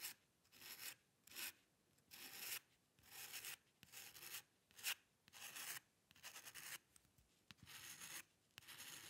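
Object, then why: Metal pen nib on drawing paper. A metal dip pen nib scratches across white drawing paper resting on a dark table in quick, hair-like strokes. Each stroke is a short, bright, dry rasp with almost no low end, and the strokes come in a steady run of bursts separated by brief quiet gaps.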